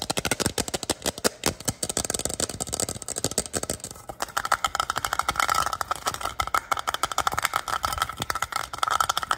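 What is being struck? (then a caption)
Plastic water bottle. Fingertips and short nails tap and scratch quickly along the sides and ridged base of a clear plastic water bottle that is hollow and looks empty, with a black lid and carry loop. The result is a dense stream of rapid, dry, bright clicks and scratchy rattles with little bass, with a faint thin ringing tone emerging in the second half.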